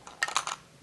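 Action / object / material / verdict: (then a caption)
shake / rear glass element of a camera lens / glass / loose. The loose rear glass element of a broken Samsung NX 12-24mm lens, which came apart after its lens hood was put back on, is moved by hand. This produces five quick, bright glassy clinks with a faint tone near 820 Hz and almost no ring. The rattle shows the element has come loose, a fault.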